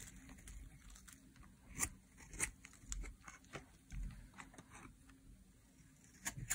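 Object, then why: Bar of soap scraped with a metal blade. A metal blade scrapes shavings off a dry, solid pink soap bar held in the hand. Quiet, crisp scraping and crunching strokes come in short bursts, each with a bright, papery edge and a soft low thud underneath. A few strokes stand out louder than the rest.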